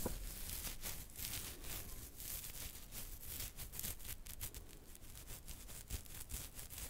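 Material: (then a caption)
Hair. Fingertips and nails of one hand scratch a full, dark, soft beard on a man's chin and neck near the jaw, close to the microphone. The result is a steady, crackly rasp of bristly hair with bright, brushy texture over a low rumble, swelling and easing with each stroke.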